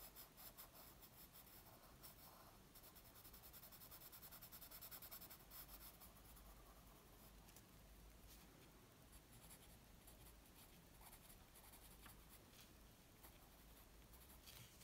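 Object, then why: Graphite pencil on a paper sheet. A graphite pencil scratches and rubs shading lines across a flat white paper sheet resting on a wooden table. The sound is a quiet, steady, papery scratching with a bright hiss over a low rumble, swelling slightly in the middle before settling back to an even rasp.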